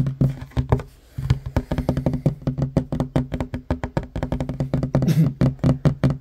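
Fingertips and short nails tap quickly on a flat, solid wooden table top. A rapid, uneven run of dull, low knocks with a pitch of about 133 Hz, each dying away almost instantly, pauses briefly near the one-second mark. Most of the energy sits in a deep, woody thump with almost no bright content.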